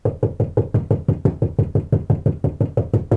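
Nineteen quick, even knocks land on the outside of the lower portion of a steel car door panel, which has KILMAT butyl sound deadening mat applied inside for comparison with the untreated upper portion. Each knock is a dull, low thud with almost no ring, showing the panel is deadened.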